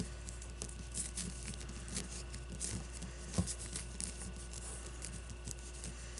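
Long blue-painted nails scratch and tap a solid leather baseball with red stitching, making quiet, dry pattering scratches and light taps with one sharper tap near the middle. Each sound dies away almost instantly over a steady low hum.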